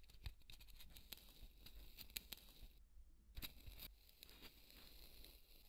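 A large white solid polystyrene foam ball is rubbed and scratched with fingertips, then lifted. Dry, bright squeaky scrapes and crackly ticks come in short bursts over a low rumbling background, with a brief near-silent gap partway through.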